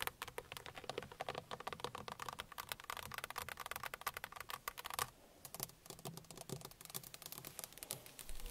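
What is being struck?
Plastic steering wheel centre pad.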